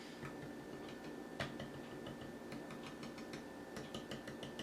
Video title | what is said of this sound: DNA Design DK 38 Legacy Menasor Upgrade Kit - GotBot true Review NUMBER 1244 | you can hear my fingernail tap on it this might be slightly thinner but not by much